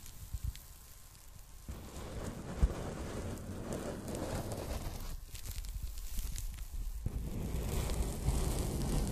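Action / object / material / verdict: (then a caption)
scrape / polyethylene foam packing bag / polyethylene foam / none. A folded pink polyethylene foam packing bag is bent and handled with fingers and long nails, the foam rubbing against itself. It gives a dense, low, rumbling crackle with soft rustling scratches and an occasional sharper pop, steady for most of the clip.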